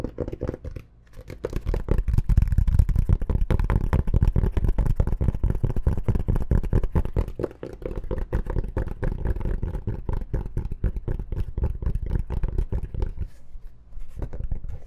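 A dark rectangular zippered hard-shell case with a fabric-covered surface, hollow and closed, is held upright and scratched and tapped with long painted nails. Dense, rapid, dry scratching and tapping runs almost continuously with a low, muffled body and no ring, pausing briefly near the start and toward the end.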